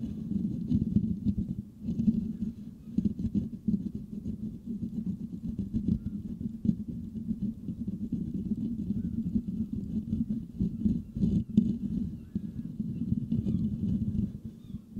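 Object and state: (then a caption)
Metal microphone grille being scratched. The nails of both hands rapidly scratch the hollow, perforated metal mesh grille of a Blue Yeti microphone. The result is a dense, continuous scratchy patter with a boomy low hum centered around 200 Hz and faint bright rasps above. It runs steadily for about 15 seconds with only brief dips.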